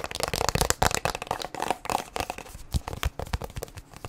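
A plastic sunscreen tube, held upright and then sideways, is tapped and scratched with long nails. Quick, dry clicking taps mix with a scratchy rustle, each sound stopping almost at once with no ring.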